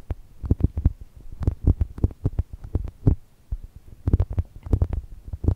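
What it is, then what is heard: Foam toast squishy. Long nails scratch and tap the lower face of a soft brown foam chocolate toast squishy, making a quick, irregular run of dull, low, muffled thumps. Each tap is short and dead with almost no ring, and the sound stays deep and bassy with little brightness.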